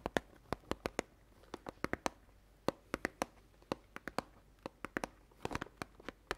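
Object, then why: Cardboard oat flakes box. A medium cardboard cereal box of Chabrior Flocons d'Avoine oat flakes, likely filled with oats, is held upright in both hands near the mic and tapped rapidly with long dark-painted nails. About 27 short, dry, clicky taps sound in uneven bursts, each dying away instantly with no ring, over a quiet, hushed background.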